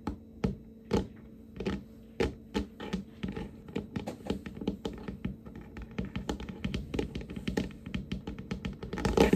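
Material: Wood.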